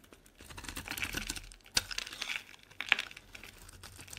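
A solid purple Palmolive soap bar held in the hand is scraped and carved with a metal utility-knife blade, shaving off curls and flakes. Quiet, bright, crisp scraping and crackling fills the clip, with sharper clicks from the blade near 1.8 and 2.9 seconds.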